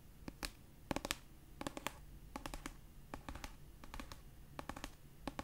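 A pastel paperback copy of "Red, White & Royal Blue," a solid paper book held in one hand, has its edge and cover tapped and scratched with long nails. Quiet, dry, clicky taps come in quick uneven clusters, each dying away at once, with bright crisp tops over a low, faint background rumble.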